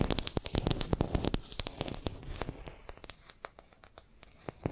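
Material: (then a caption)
Wood. Long nails scratch and tap a small solid wooden makeup brush handle held in both hands. Quick, sharp, dry clicks ring out over a rough scratching texture, loudest and densest in the first second and a half. They then thin out into softer, scattered taps.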